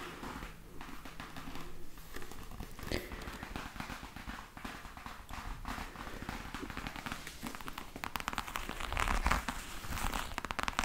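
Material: Faux leather.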